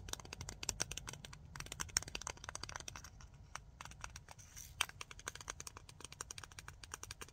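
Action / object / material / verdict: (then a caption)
tap / small round plastic case with lid / plastic / none. Long nails rapidly tap and scratch the lid and rim of a small, clear, round, hollow plastic case. The result is a dense stream of sharp, bright, dry clicks and scrapes that stop instantly with no ring.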